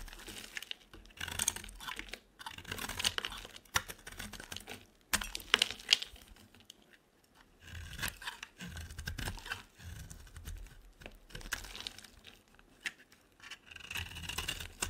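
A solid rectangular white bar of soap is held in the hand while a utility knife blade shaves its edges in repeated scraping cuts. Dry, bright scraping and crisp crumbly crackles come in uneven bursts with brief pauses between strokes.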